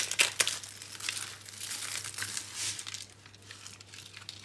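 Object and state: Dry soap flakes being crushed.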